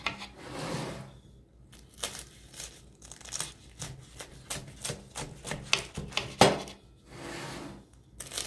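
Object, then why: Baked phyllo pastry börek cut with a knife. A knife slices across a crispy baked spiral phyllo spinach börek, cutting through the layered crust. Bright, sharp crackles and crunches of the flaky pastry come in quick bursts, with a few softer rustling stretches in between.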